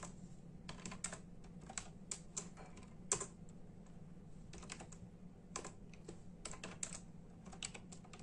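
Bare fingertips of both hands type fast and densely on a full-size black and silver plastic membrane computer keyboard with hollow keys. The keystrokes come as quick, bright, short clicks with some louder stabs, over a steady low hum.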